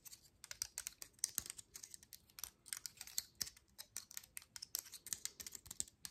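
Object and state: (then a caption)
Dry pine cone. Long nails flick, tap and scratch the woody scale tips of an open, dry pine cone held close up. A quick, irregular stream of quiet, sharp clicks and light scrapes sounds bright and high with almost no low end, each tick dying away almost instantly.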